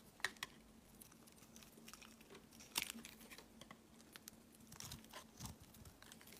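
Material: Glycerin soap.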